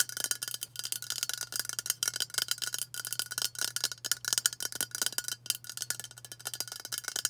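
A hollow aluminium White Dove aerosol deodorant spray can, held upright, is tapped fast with long nails in a rapid, uneven run of light clicks. Each tap is a bright, high, metallic tick that dies almost instantly, over a faint steady low hum.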